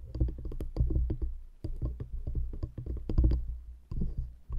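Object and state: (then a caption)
Wooden rings tapped with nails. Long acrylic nails rapidly tap and scratch two stacked, light, solid wooden rings fitted around a microphone grille. The result is a dense patter of short, muffled clicks with a deep low-end thump, in bursts separated by brief pauses.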